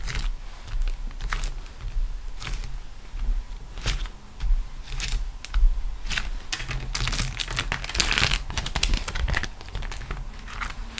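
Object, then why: Beeswax-coated cotton food wrap. A folded beeswax-coated cotton food wrap with a vegetable print lies flat on a grey table and is pressed, rubbed and crinkled with fingertips and long acrylic nails. Irregular bright crackles, crinkles and sticky peeling sounds come in bursts over a faint steady low hum.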